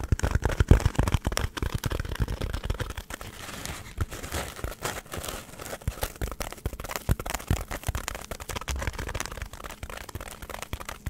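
A hand-sized, solid white polystyrene foam block is scratched with long nails in front of the microphone. It makes dense, dry crackling and crinkling scrapes with many quick, sharp bursts and a heavy low rumble throughout. The scratching is loudest at the start and keeps going steadily to the end.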